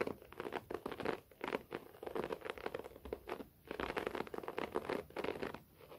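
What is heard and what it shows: Both hands scratch a short-pile beige carpet floor with fingertips and short natural nails, giving a dry, rapid scratching and crackling texture. The strokes come in quick bursts with brief pauses, mostly in the midrange with little low end.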